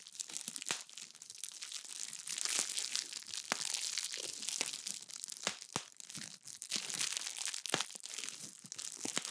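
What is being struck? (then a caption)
Plastic bag of bead slime. A small clear plastic bag filled full of purple crunchy bead slime is held in front of a microphone and squeezed and crinkled with fingertips and long nails. It makes a dense, bright crackling and crunching, with sharp clicks and pops over a steady rustle of the plastic.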